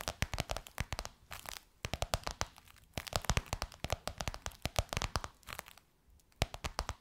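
Long white nails tap and scratch quickly on a gold crocodile-embossed faux leather pillowcase stretched over a soft pillow. Rapid, sharp clicky taps come in dense bursts with a dry, crackly texture and short pauses between flurries. Each tap dies away almost instantly.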